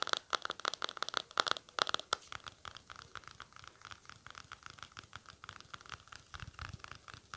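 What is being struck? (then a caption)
Small plastic cream tub lid. Short nails scratch the lid of a small round white plastic aloe vera cream tub with blue print, making a rapid run of dry, bright scratches, each carrying a faint ringing tone near 1.3 kHz. The strokes are loudest in the first two seconds, then continue more softly and evenly, with each one dying away almost at once.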